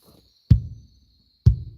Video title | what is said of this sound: Can We Cut The Hay..?? | I'll give it a hit. Well, that sounds empty.